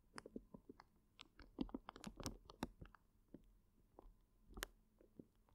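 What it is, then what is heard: Plastic bag of gel water beads being squeezed. A full, clear plastic zip bag of gel water beads is cradled in both hands while the fingers press and knead it. Quiet, wet squishing and soft crackling come in irregular bursts, with the beads shifting and popping against the plastic. The sound is close and low-level, with brief bright clicks over a muffled lower squelch.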